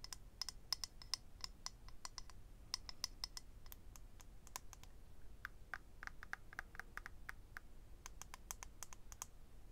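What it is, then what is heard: Clear acrylic eyelash case. Fingernails rapidly tap and scratch on a small, hollow, rectangular clear acrylic eyelash case holding rows of lash strips. The result is a quick run of sharp, bright clicks with a high, glassy ring that dies almost instantly, over a quiet low background rumble.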